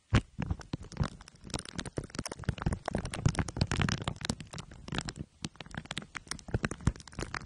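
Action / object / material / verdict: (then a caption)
scrape / microphone wrapped in aluminium foil and plastic wrap / foil, plastic / none. Two glue sticks are dabbed on top of a microphone head wrapped in crumpled aluminium foil under clear plastic wrap. Dense, rapid sticky crackles and crinkles sound against a heavy low thumping rumble, with sharp bright clicks scattered throughout.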